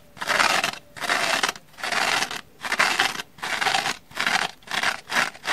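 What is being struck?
Abrasive scouring pad on a kitchen sponge.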